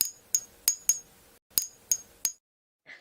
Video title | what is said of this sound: IDENTIFY REAL VS FAKE JADE - Nephrite and Jadeite Jade Treatments and Simulants | you won't get the beautiful ping sound